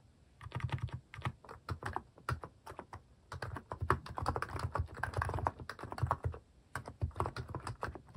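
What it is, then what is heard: Plastic mechanical keyboard being typed on. Fingertips type on a cream plastic mechanical keyboard with plastic cat and paw keycaps, giving rapid runs of short, clacky keystrokes. The clicks have a low, thocky body with a brighter tap on top, coming in bursts separated by brief pauses.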